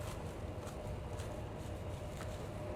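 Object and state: Nothing is struck.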